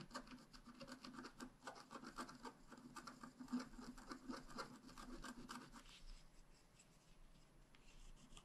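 A wooden stylus tip scratches a flat, wax-coated black scratch-art page, a thin solid card about A5 size lying on a table, in small strokes. Quick, irregular dry rasping scrapes overlap with a soft low-mid body around 250 Hz and faint bright edges. The scratching eases to lighter, quieter strokes for the last couple of seconds.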